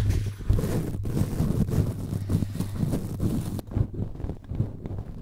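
A cotton swab scratches and rubs the red perforated metal mesh grille of a cylindrical microphone while fingertips touch it. The result is a close, boomy scraping with a heavy low hum and thumps, layered with a rough, crackly hiss in repeated strokes. Past the midpoint the bright hiss drops away, leaving softer, duller rubbing.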